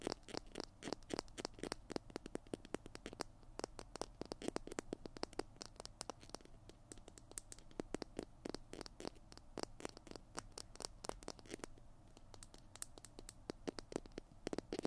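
Fingernails tap and scratch the tube and cap of a small hollow plastic glue stick held in both hands. Rapid, dry, quiet clicks and scratches with bright, crisp edges fade instantly over a faint low rumble, continuing steadily throughout.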